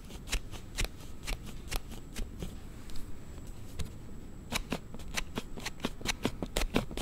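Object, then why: Hard plastic sliding case on a smartphone. A hand-sized hard plastic sliding case (Dahm Glide) on a Galaxy Note7 smartphone, held in both hands in front of a Zoom H6 microphone, is repeatedly slid open and shut with the fingertips and thumb. The result is a quick run of sharp, bright, clicky snaps over a soft, low, scissor-like rubbing between them.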